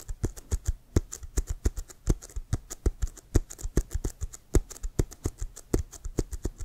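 Fingertips and nails tap and scratch the surface of a brown, pebbled leather American football with white stripes, hollow and inflated and held close. Dozens of quick, irregular taps each give a short, deep hollow thump with a bright clicking edge, dying away almost at once between faint scratches.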